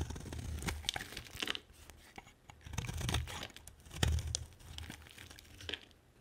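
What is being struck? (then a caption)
Bar of soap cut with a metal knife. A metal knife blade carves and scrapes a solid oval yellow bar of soap, cutting shavings and cubes from its surface. Dry crackling, crunchy scrapes come in short bursts over a soft low rumble, with sharp bright clicks as the blade bites into the bar.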